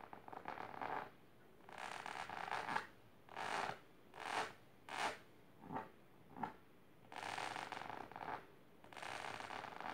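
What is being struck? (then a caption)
Fabric-covered storage box. Long silver nails scratch the fabric of a large pink patterned fabric-covered storage box or ottoman in nine separate bursts. Long raspy strokes at the start and end frame a run of shorter, quicker scrapes in the middle, each a dry, bright scratching hiss with quiet gaps between.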